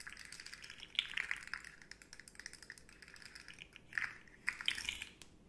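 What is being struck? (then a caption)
Hollow segmented hard plastic slug toy tapped with fingernails. Long nails tap along the hollow segments of a rainbow, segmented, hard plastic articulated slug fidget toy held upright. The result is a dense run of quick, dry, bright clicks with almost no low end. Louder flurries come around the one-second mark and again near the end.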